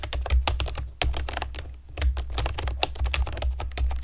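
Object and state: Plastic keyboard with round keycaps.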